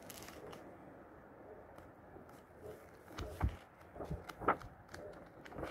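Fingers lift and quickly flip the yellowed paper pages of an old 1948 book, producing a soft, continuous papery rustle and flutter. Brief sharper page flicks stand out toward the end, with light crackles over a low background hum.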